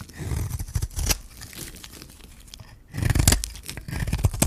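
A metal blade scrapes and shaves the surface of a hand-held, solid white bar of dry soap with a magenta rim. It makes a dense run of crunchy, tearing scrapes with a heavy low-end thud. Bursts of shaving come early and again near the end, with a quieter stretch in between.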